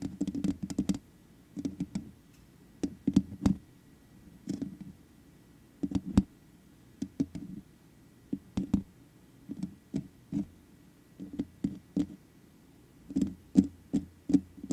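Long nail tips tap the hollow metal mesh head of a black microphone in quick clustered bursts, with short pauses between groups. Each tap is a short, dry, clicky knock with a low-mid body, bright transient edges and almost no ring.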